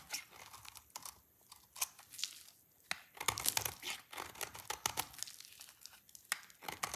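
A rectangular solid bar of dry purple soap, held in one hand, is shaved with a utility knife blade into long curls. Quiet, bright, dry scraping and crisp crinkling strokes come in quick bursts with short pauses between them, each cut ending abruptly with no ring.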